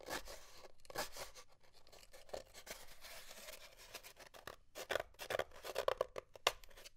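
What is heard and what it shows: Fingernails scratch and pick at leftover paper towel bits stuck to the surface of an empty, hollow brown cardboard paper towel tube lying on a wooden desk, with the torn paper towel pile beside it. Quiet, dry scratching and papery rasps come in quick bursts, with a hollow midrange tone and brief bright crackles that grow sharper and more clipped toward the end.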